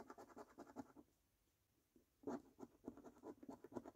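A coin edge scratches the latex panels of a thin, flat paper scratch card, making quick, raspy strokes in bursts. The scraping stops for about a second and then resumes.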